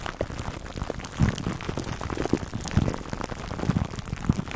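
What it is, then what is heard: Cling wrap over a foam mic cover. Fingertips and nails scratch clear plastic cling wrap stretched over a black foam microphone windscreen. The result is a dense, continuous crinkling and rustling with a low, muffled character. Louder, thumping bursts stand out near 1.2, 2.8 and 4.3 seconds.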